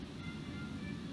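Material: Nothing is struck.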